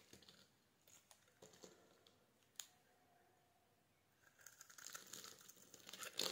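A palm-sized solid white soap bar, held in the hand, is scraped with a metal blade as flakes crumble off. Soft, crisp scrapes and crinkles come in scattered bursts with one sharp click. After about four seconds, they become a denser, bright, continuous scraping that grows louder toward the end.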